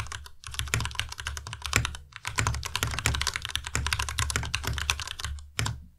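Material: Plastic.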